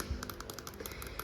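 Fingers tap on an IKEA trash can being used as a cheap plant pot, with holes added in its bottom. A quick, steady series of light, crisp taps plays over a low background rumble, with each tap dying away almost at once.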